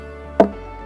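A stone knocks once against the trunk of a Phoenix palm, giving a single short, hollow-sounding knock with a tonal ring centered around 660 Hz that dies away quickly. The trunk sounds this way because it is hollow inside, and the hollow grows larger as the palm ages.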